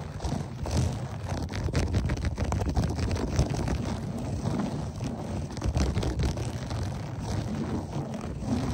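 Fingertips and short nails of both hands quickly scratch a beige, textured berber loop-pile carpet, with the recorder resting on the carpet itself. The result is a dense, continuous, low, rumbling scratch with a muffled, bassy texture and very little high end.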